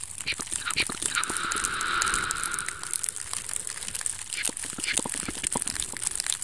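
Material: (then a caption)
Wicker. A small, hollow, empty woven basket of wicker or bamboo strips is held up close in both hands while fingertips and nails rapidly scratch and tap its woven sides. The result is a fast, dense stream of dry crackling taps and scrapes with a bright, hissy top end, plus a smeared, ringing wash in the middle of the clip, likely from an added echo effect.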